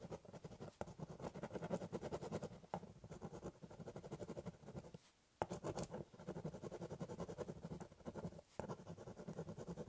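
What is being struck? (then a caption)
Corrugated cardboard box scratched with a ballpoint pen. A ballpoint pen tip scratches short, rapid strokes across the top of a large, hollow corrugated cardboard shipping box while drawing. The steady scribbling has a dry, scratchy texture over a low, hollow body resonance. It stops briefly around the midpoint, then resumes at the same pace.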